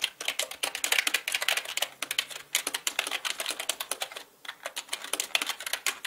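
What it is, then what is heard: Mechanical computer keyboard being typed on. Both hands type with their fingertips on a black mechanical computer keyboard with plastic keycaps. The result is a steady run of quick, bright, clicky keystrokes with very short decay and almost no low end, with a brief lull just past the four-second mark before the typing resumes.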